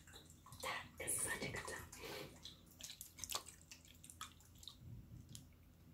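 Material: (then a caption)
Glass. A small clear glass jar with a green screw lid, partly filled with water and glitter, is held in one hand with long dark nails and shaken so the liquid sloshes inside. Quiet, uneven bursts of splashing and gurgling rise and fade, with bright, high droplet ticks over a faint low hum.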